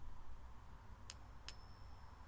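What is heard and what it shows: A silver coin balanced on a fingertip is tapped twice, giving two faint, high-pitched metallic pings that ring on briefly over a low background hum. The quiet ringing tone marks the coin as real silver.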